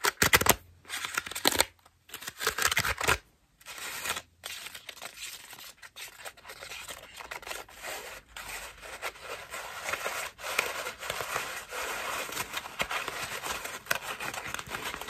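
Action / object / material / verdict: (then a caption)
scrape / foam bath loofah / foam / none. A cream foam bath loofah is scratched with long nails, then squeezed between both palms. Bright, dry scratching comes in short bursts separated by brief silences, then settles into a steadier, softer crackling and rustling as the foam is pressed.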